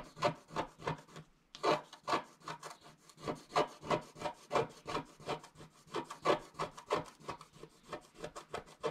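A wooden stylus scratches a flat coated scratch-art sheet in steady strokes, making about 29 short, dry rasping scrapes at roughly three per second, with a brief pause near the start. Each stroke is a quick burst of bright, papery scratching centred in the midrange that stops almost at once without ringing.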